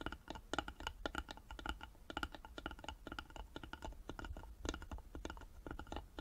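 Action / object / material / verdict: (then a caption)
tap / small carved wooden box / wood / none. Long nails tap and scratch quickly along the wooden sides of a small hollow carved wooden jewelry box, which has a metal plaque on its lid and a metal clasp and is held in both hands. The taps are dry, clicky and die away almost instantly, with a woody tone around 1.4 kHz over a low thump, and soft scratching fills the gaps between them.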